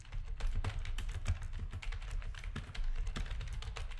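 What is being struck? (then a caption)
Plastic computer keyboard. Fingertips of both hands type rapid key presses on a full-size black plastic RGB backlit gaming keyboard with a hollow housing. Dense, overlapping clacks carry a deep, hollow thump under brief bright edges, and each press dies away almost at once.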